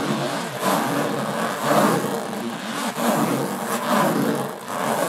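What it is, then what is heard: Aluminum case being scratched. Long nails scratch slowly across the textured lid of a closed, hollow aluminum carry case. The result is a continuous, raspy scraping with a hollow, resonant ring around the low-mid range, swelling and fading in slow, uneven strokes.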